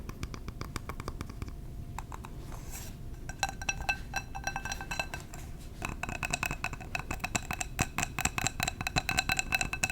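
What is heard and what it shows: A glass candle jar is tapped with the fingers in quick, dense runs of short, bright clinks that ring around 2.6 kHz and die away almost at once. Many taps run together over a soft low background, growing busier and louder in the second half.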